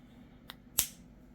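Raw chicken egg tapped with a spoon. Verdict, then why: Cracked. A spoon taps a third raw chicken egg, cracking its inner membrane faster than on the first two eggs. Two sharp, bright clicks are heard: a faint light tap, then a louder crisp crack that rings only briefly.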